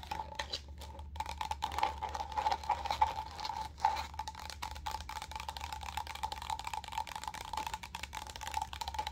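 Long gold acrylic nails quickly tap and scratch a small, empty, hollow clear plastic cup with a textured dotted pattern, held upside down. The result is a dense run of sharp, light clicks and scratchy rasps with a faint ringing tone near 870 Hz, over a steady low hum.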